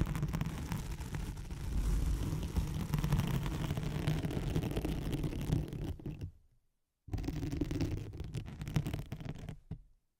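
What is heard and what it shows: Long nails scratch a thin white nylon hook-and-loop (hook-side velcro) sheet laid over a microphone, giving a dense, low, rumbling scratching texture with a faint bright fizz. The scratching runs steadily for about six seconds, fades into a brief silence, then resumes before fading out again near the end.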